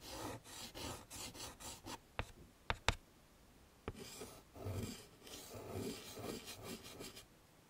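Chalk draws leaf shapes on a wood-framed chalkboard, making repeated short, rasping strokes across the board. A few sharp, quick taps of chalk on the surface break up the scratching midway before the rasping strokes resume.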